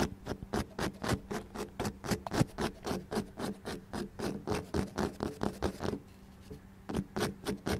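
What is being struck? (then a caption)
Ceramic plant pot filled with soil. Fingertips and nails tap and scratch close-up on the outer side of a small, speckled beige ceramic plant pot, hollow and filled with soil and an artificial lavender plant. A fast, uneven run of short, dry taps and raspy scratches carries a faint low tone, pauses briefly near the end, then resumes.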